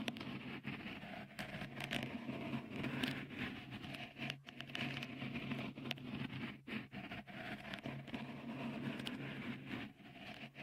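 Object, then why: Textured silicone microphone cover. Fingertips tap and scratch a small, hollow, white, dimpled silicone cover fitted over the right microphone capsule of a Tascam recorder. The result is a dense, continuous patter of soft, close taps mixed with bright, scratchy rustling over a faint, steady low hum.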